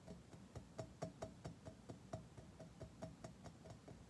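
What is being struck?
Chrome-plated curved metal object.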